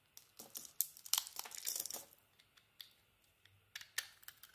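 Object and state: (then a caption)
Soap bar being shaved. A solid soap bar with a red and pink striped coating and a white core is held in the hand and shaved with a metal box-cutter blade. Crisp, bright scraping and crackling rises into a dense burst of shaving in the first two seconds, then breaks into sparser, sharp little cuts, with almost no low end.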